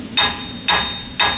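Three hammer taps strike the rear brake drum of a 2010 Toyota Corolla S, a steel/cast iron drum being knocked to free it from the hub. Each tap gives a sharp, solid metallic clank with a bright ring near 3.7 kHz that fades within about a quarter second. The drum stays seized fast on the hub, with no movement.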